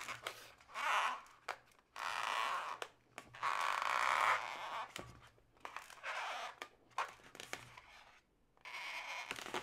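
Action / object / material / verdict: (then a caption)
scrape / inflated latex modelling balloon / latex / none. Hands with long nails twist a yellow, hollow, inflated latex modelling balloon into segments, making the rubber squeak and creak. Bursts of rubbery squeaking centred around 1 kHz swell and fade, with sharp little clicks and taps in the quiet gaps between them.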